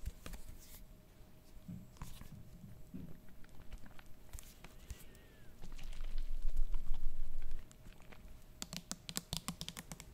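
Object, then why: Plastic bottle filled with liquid. Long nails tap the body of a medium plastic bottle full of liquid held in both hands, making quick, irregular hollow clicks. A louder, denser stretch of rustling contact fills the middle of the clip. It ends with a rapid run of sharp, bright taps.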